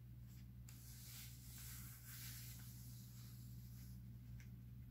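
Fingertips rub and slide across the pages of a thin, open newsprint-paper comic book lying on a stack of comics on a wooden table, then turn them. The paper rustles in soft, bright hissing swishes with a couple of crisp ticks. A steady low hum runs underneath throughout.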